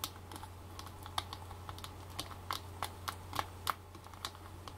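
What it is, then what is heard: Plastic powder compact tapped with nails. Long black fake nails tap and scratch the lid of a small, round Maybelline Stay Matte powder compact made of clear and white plastic, held in the hands. Quick, irregular, bright plastic clicks with very short decay rise over a soft scratchy texture and a steady low hum.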